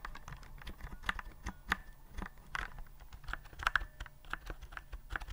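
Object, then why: Plastic typewriter-style keyboard. Fingertips type on a white plastic typewriter-style keyboard with round keycaps, held upright. Its quick, irregular run of light plastic clicks and taps carries a faint tonal ping near 1.6 kHz, with each click dying away almost instantly over a low rumble.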